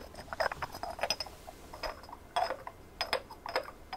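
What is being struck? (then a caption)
Textured ceramic ornament. A hand-sized white ceramic ornament with a rough, sandy textured surface and small glazed blue and cream decorations is tapped and scratched with long nails. The result is a quick string of dry, bright clicks and short scratchy strokes that barely ring, set against a faint low hiss.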